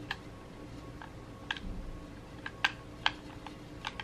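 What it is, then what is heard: Plastic game controller buttons. Thumbs tap the buttons and sticks of a red hollow plastic gamepad held in both hands. About eight short, sharp plastic clicks land at irregular intervals over a low, steady background hum. Each click is bright and dies away almost instantly.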